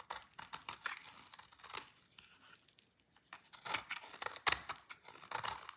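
A utility knife blade carves a solid, dry orange laundry soap bar, and long shavings break off. The result is quiet, dry, crisp scraping and crunching, mostly bright with almost no low end. It comes as a rapid series of short, sharp cuts that thin out in the middle and grow louder again near the end, with the sharpest snap about three quarters of the way through.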